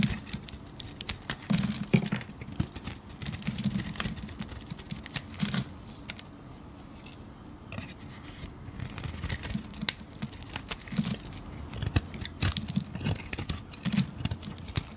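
A metal blade carves a solid blue bar of soap, held in fingers with blue nails, scraping and shaving off flakes. Dense, crisp scraping strokes and sharp bright ticks repeat steadily, with a soft low rumble underneath. There is a quieter stretch in the middle before the shaving picks up again.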